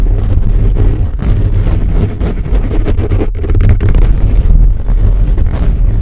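Fingertips and nails of both hands scratch fast across a hollow black metal mesh microphone grille. The result is a loud, continuous, boomy low rumble of dense scraping and rustling bursts, with little brightness above it.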